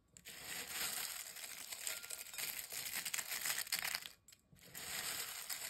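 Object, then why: Potato chip fragments in a glass bowl. A hand and fingers crush and press a pile of broken, dry, crisp potato chip fragments inside a glass bowl. The result is a dense, bright crackling crunch that runs almost continuously, stops briefly near the end, then resumes.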